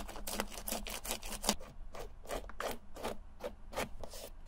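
A tan sponge or abrasive pad is rubbed over the tongue and then the side panel of a white leather Adidas Stan Smith sneaker with a green heel tab, the hollow shoe held in hand. Quick, unevenly spaced scrubbing strokes make bright, breathy swishes over a steady low hum.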